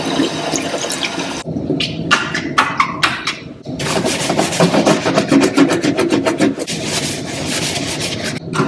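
A yellow plastic dish brush held in the hand scrubs a large, damp, double-bowl stainless steel kitchen sink with some foam in its hollow basin. Bristles rub and scratch over the metal bowl in a dense, bright, hissing scrub, broken midway by a few separate short strokes. Fast back-and-forth scrubbing then resumes to the end.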